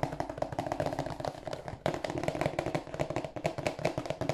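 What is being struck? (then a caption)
Cardboard tissue box. A rectangular, glossy, marble-printed cardboard tissue box, hollow and held in both hands, is tapped on its broad face with fingertips and nails. The result is a rapid, continuous run of short, dry, hollow taps with a mid-range resonance and very little ring, with a brief pause near the two-second mark.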